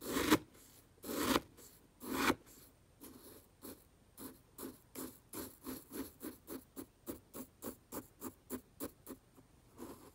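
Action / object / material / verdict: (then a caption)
scrape / dry fish food pellets in a plastic jar / fish pellets / none. A black brush handle is pushed and stirred through brown fish food pellets in a small open clear plastic jar. Three loud, bright rattling crunches come first, followed by a steady run of softer, quick rustling scrapes of the pellets shifting against each other and the jar.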